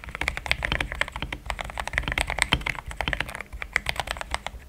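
Fingertips type in steady taps on a pink-framed compact mechanical keyboard with thick cream XDA plastic keycaps, a polycarbonate plate, linear switches and a hollow case. The result is a fast run of short, bright clacks with a low thock beneath, each dying away almost instantly.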